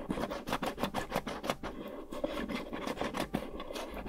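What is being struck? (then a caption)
Small lidded cardboard box. Long nails scratch and tap the textured lid and sides of a small, hollow, lidded cardboard gift box with a lilac gingham and flower print, held in one hand. The result is a quick, irregular run of dry, raspy scratches and soft papery taps with a hollow midrange tone. Each stroke dies away almost instantly.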